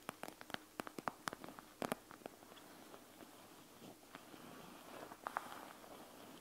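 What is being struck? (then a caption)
Plastic gel bead eye mask. Fingertips and nails press and tap the plastic, gel bead-filled front of a panda gel bead eye mask. A quick run of crisp, short clicking taps fills the first two seconds, followed by quieter squishing and crackling presses and a couple more taps near the end.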